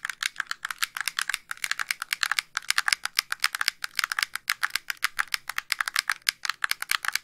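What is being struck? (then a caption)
Plastic handheld game console. Fingernails press and click the buttons and tap the shell of a white, hollow plastic handheld game console. The result is a rapid, uneven stream of dry, sharp plastic clicks and taps that die away instantly, with a bright, crisp top and no low end.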